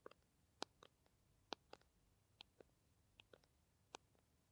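Long nails tap and scratch along the body of a small, green, plastic squeeze tube of Kamill hand cream, held upright and looking filled and flexible. Nine quiet, sharp, dry clicks land at an uneven pace, some bright and crisp and others duller, each dying away almost instantly over a near-silent background.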